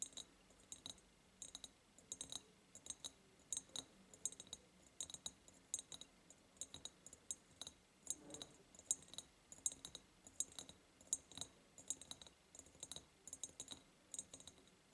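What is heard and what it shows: Long painted nails tap and click on the sides of an empty, ribbed, clear glass jar. The clicks are crisp, bright and high, arriving in quick, irregular bursts. Each one dies away almost instantly, with very little low end.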